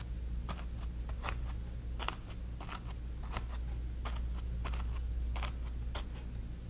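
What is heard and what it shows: A flat bristle brush dabs and strokes wet paint on a small stretched cotton canvas on a wooden frame. Short, bright, scratchy dabs come at an uneven pace over a steady low hum, each dying away almost at once.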